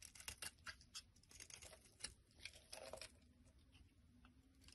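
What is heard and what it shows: A black blade scrapes crumbly flakes off a solid lilac bar of soap held in the hand. The result is quiet, dry, bright scratchy strokes with soft crackles, busier in the first three seconds and then settling into a fainter steady rasp.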